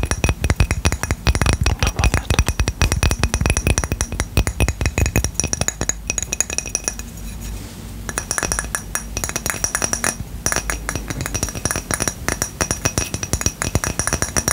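A small, round, white ceramic coaster, solid and flat and held beside the mic, is tapped and scratched across its face and edge with fingertips and short nails. Rapid, bright clinking taps with almost no ring run throughout, easing into a softer scratchy stretch around seven to eight seconds before the tapping picks up again.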